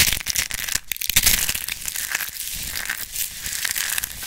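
A small, solid, crisp pink-purple dried soap rose is crushed and crumbled between the palms and fingertips of a hand with long painted nails over a pile of soap shavings. Dense, bright crackling and crunching snaps peak just after the first second, then ease into a steady, softer gritty rustle as the fragments are rubbed between the fingers.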